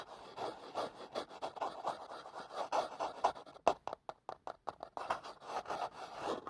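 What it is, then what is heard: Cardboard box tapped and scratched. Long fingernails rapidly tap and scratch a small, hollow, printed cardboard product box held over the microphone. The result is a quick, uneven stream of dry, papery taps and scratchy rubbing, centered in the midrange with almost no bass. Around the middle, the sound thins into sharper, separate taps before the denser scratching returns.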